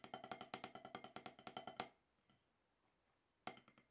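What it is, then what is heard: Rubber drum practice pad. Two wooden drumsticks tap quick, sharp strokes on a solid octagonal HQ snare practice pad with a dark rubber surface. About 23 dry, clicky hits, each with a short woody knock near 750 Hz and a bright edge, come in a fast, slightly uneven run for nearly two seconds. After a quiet pause of about a second and a half, a few more hits follow.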